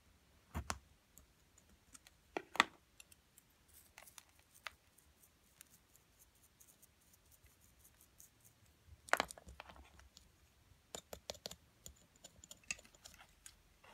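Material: Plaster.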